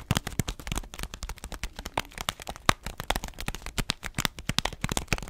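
An orange paper-foil coffee bean bag with a black band is held horizontally in both hands while fingertips and long nails tap and squeeze it, rattling the beans inside. The result is a rapid, uneven stream of short, dry crinkles and clicks that stop quickly, mixing a low thump from the bag with bright, crisp rattling.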